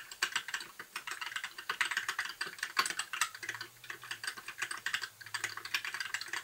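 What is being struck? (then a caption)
Mechanical keyboard with plastic keycaps. Fingertips type continuously on a compact white backlit mechanical keyboard with plastic keycaps. A rapid, uneven stream of crisp, bright clacks continues throughout, each keystroke short with almost no ring, and a faint low hum appears briefly in the second half.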